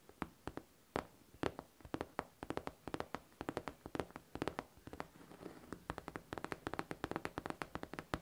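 Long nails tap and scratch the smooth surface of a hollow pink faux leather backpack. A quiet, fast series of short, dry, clicky taps rises and falls in irregular rhythm with no ring after each hit. A brief stretch of soft scratching fills the middle.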